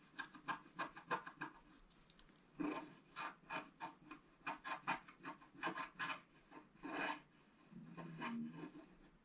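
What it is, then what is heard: Scratch-art board scratched with a stylus. A thin wooden stylus scratches short strokes into a flat, coated scratch-art paper board. It makes a quick series of dry, raspy scrapes with a bright edge, some in short rapid bursts and others longer and drawn out. The clip ends with a softer, duller rub.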